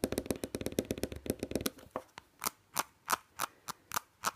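Long nails quickly tap and scratch a small white plastic nasal spray bottle with a green label. A fast run of crisp clicks with a faint hollow ring is heard first, then slower, evenly spaced bright scratching strokes.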